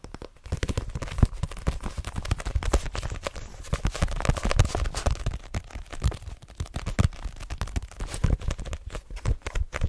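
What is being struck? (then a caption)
Paperback book with card cover. Long dark-green nails tap quickly on the front and back card covers of a solid cream *Assassination Classroom* paperback held in the hands. The result is a dense, continuous run of short, dry taps, mostly low, dull thuds with faint crisp clicks that die away almost instantly.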